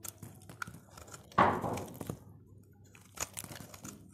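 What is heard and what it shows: A utility knife blade cuts and shaves crunchy flakes from the face of a solid, dry purple soap bar held in the fingers. Soft crackles and ticks run throughout, with one loud, bright crunch near the middle that fades over about half a second and a sharper scrape later on.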